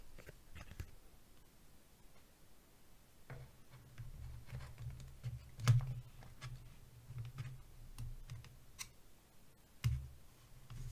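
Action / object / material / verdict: tap / plastic box / plastic / none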